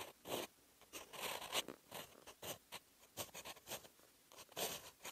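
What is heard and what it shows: A steel fountain pen nib scratches across a lined sheet of paper, writing Korean characters in green ink. Short, bright, scratchy bursts mark each stroke, separated by brief near-silent pauses.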